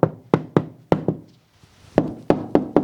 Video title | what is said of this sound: MOVA V70 Ultra Complete im Test: DAS ist NEU | this is how it sounds when you knock on it so little hollow